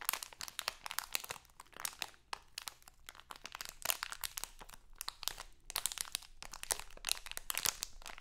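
A small printed crinkly plastic Halloween candy bag is held in both hands and crinkled and scratched with long acrylic nails. It makes a dense run of sharp, bright crackles and crinkles with almost no low end. The crackles come in quick bursts that stop dead, with no ring after them.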